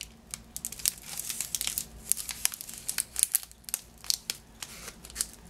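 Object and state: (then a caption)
Cellophane wrapping crinkled. Fingers crinkle and scratch the crinkly green cellophane wrapped around a yellow lemon-shaped Positano item tied with a ribbon. The result is a stream of sharp, bright crackles and rustles that start and stop irregularly, with almost nothing in the low end and a faint steady hum underneath.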